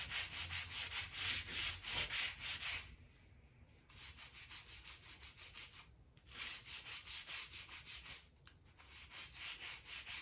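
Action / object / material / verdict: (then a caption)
scrape / oak plank floor with a stiff brush / oak / none. A hand-held stiff gap brush sweeps and scrapes along a seam in a light oak plank floor, brushing dirt and dust from between the floorboards. Quick back-and-forth strokes make a bright, bristly, hissing scrape, loudest at the start, with brief pauses between bursts of brushing.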